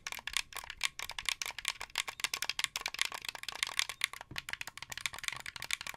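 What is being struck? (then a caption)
Hollow plastic game controller. Fingernails tap and click the white buttons and plastic face of a hollow, translucent blue plastic Xbox 360 game controller held up close. A rapid, irregular run of sharp, dry, bright clicks and taps rattles on with almost no low end and no ring after each hit.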